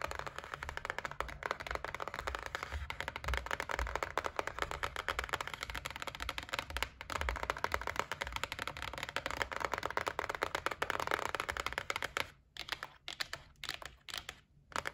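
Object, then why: Cardboard gift box. Long nails tap rapidly and continuously on the top edge of a white cardboard gift box resting on a table, making dense, dry, papery clicks over a faint low hum. In the last few seconds the tapping slows into sparser bursts with short silences between them.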